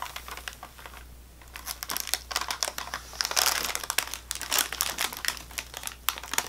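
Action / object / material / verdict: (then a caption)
tap / crackers in thin plastic wrap / plastic film / none. Long painted nails tap and scratch along the top of a full, long sleeve of square saltine crackers wrapped in thin, crinkly plastic, lying on a white table. Quick, bright crinkling clicks and scratchy rustles come in uneven bursts, growing busier after a quieter start. A faint, steady low hum runs underneath.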